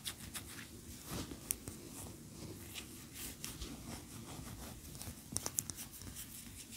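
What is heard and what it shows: Long nails scratch and tap the sides and top of a large cream solid wax pillar candle standing upright on a towel. Quiet, bright scratching rasps run throughout, with a few sharp, dry taps that cut off instantly, clustering near the end.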